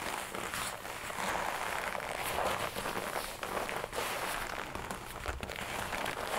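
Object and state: Leather jacket.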